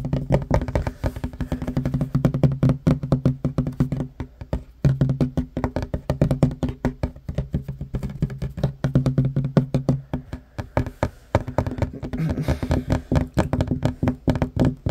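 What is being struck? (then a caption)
Wooden table top. Fingertips and short nails tap fast on a flat, solid wooden table top, with one hand briefly moving out of view. The result is a dense, steady stream of short, dull knocks with a low wooden tone around 133 Hz that die away almost instantly, with little brightness.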